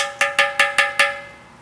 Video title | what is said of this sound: About Our Pottery | if you tap on it with a metal object you're going to get kind of a metallic ping